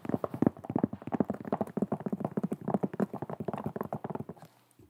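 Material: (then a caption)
Leather. A white leather sneaker held in both hands while fingernails tap and scratch its leather upper and the edge of its sole. The result is a fast, dense run of dry, muffled clicks and scrapes with very little ring, fading out near the end.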